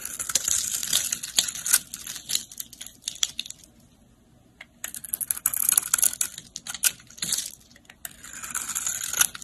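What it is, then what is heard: Soap bar being scraped. A utility-knife blade scrapes and chips flakes off the surface of a solid, palm-sized pink soap bar held in the hand. Bright, crisp scratching and crackling comes in dense bursts of quick clicks, with a near-silent pause midway before the scraping resumes.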